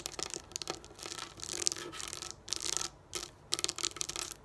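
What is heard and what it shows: Long nails scratch and rub over a flat sheet of small raised plastic dome dot stickers lying on a wooden table. The sound is a bright, crisp scratching in quick bursts with short sharp clicks and brief quiet gaps between them.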